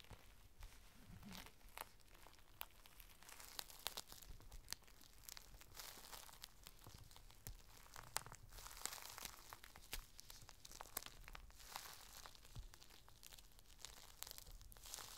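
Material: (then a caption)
Plastic. A small folded packet of thin, clear plastic rain cover is held in the hands while fingertips and nails squeeze and crinkle it. The result is a steady, quiet stream of bright, dry crinkling and sharp crackles that stop instantly without ringing, over a soft low rumble.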